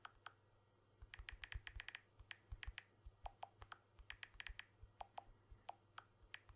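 Fingertips tap rapidly on the glass back and aluminium frame of a blue smartphone held in one hand. The result is a quick, uneven run of short, dry clicks, some bright and ticking, others lower and duller, over a faint low hum.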